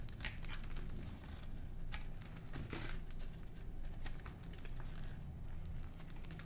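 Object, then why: Bar of soap. A palm-sized, solid oval bar of dry light-blue soap is held in one hand while a small metal knife scrapes and carves flakes from its edge. Quiet, dense crunchy scraping and crinkling ticks patter on and off throughout, over a low steady rumble, with brief bright crackles.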